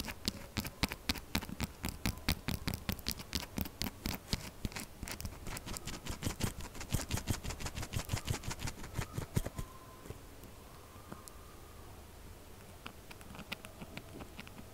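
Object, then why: Textured bar of soap. Long acrylic nails rapidly scratch and tap a pink textured solid soap bar with a crumbled, scratched side, producing a dense run of sharp, crisp scratches with a low thud under each stroke. After about nine and a half seconds the strokes drop to a softer, quieter rasp with only occasional light taps.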